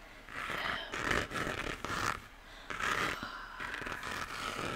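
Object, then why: 3D-printed plastic moon lamp. Fingertips and nails tap and scratch the textured, cratered surface of a hollow 3D-printed plastic moon lamp, about 15 cm across and lit yellow. The result is a run of dry, scraping, zipper-like strokes with light taps, carried mostly in the mid and upper-mid range and fading quickly after each stroke.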